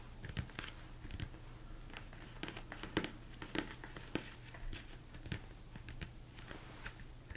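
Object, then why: Plastic mixing bowl. A large, hollow, empty mixing bowl, likely plastic, sits upside down while fingertips and nails tap on its sides and top. Scattered light clicks and duller knocks come at an uneven pace over a low steady hum, with short hollow resonance and bright nail ticks.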